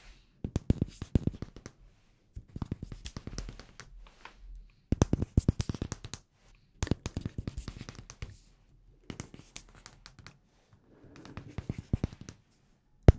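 Fingers tap on a glass room spray bottle in six quick bursts of hard, dry clinks, each bursting briefly and dying almost at once. The taps sound hard, and the bare glass part sounds different from the labelled part.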